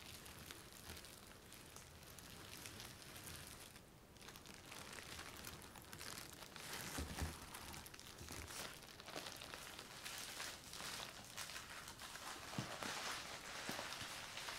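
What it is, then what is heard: Plastic bubble wrap sheet. A large flat sheet of clear plastic bubble wrap laid over a styrofoam box is lightly tapped and scratched with fingertips. The result is a steady, bright, crinkly patter like rain on a surface, with occasional slightly louder taps and soft scraping throughout.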